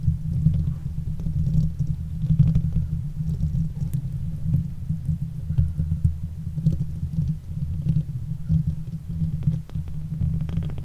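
A silver Blue Yeti microphone's hollow steel mesh grille is scratched with long acrylic nails of both hands, giving a continuous low, rumbling scratching texture. Many small, quick scrapes and taps overlap throughout the clip, with faint bright ticks on top.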